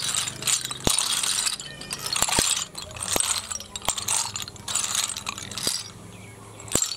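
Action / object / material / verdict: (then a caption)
scrape / snail shells / shell / none. Fingertips rake and stir a heap of small, hollow, empty snail shells on concrete. The shells clatter in bright, crisp bursts of tiny clicks and rattles, with sharp isolated ticks between the swells of stirring.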